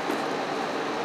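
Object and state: Nothing is struck.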